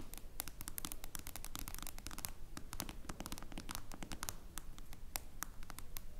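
Long blue nails rapidly tap and scratch the glass screen of a smartphone in a clear plastic case lying flat. The result is a busy stream of sharp, bright clicks and scratchy scrapes, with a constant low rumble underneath.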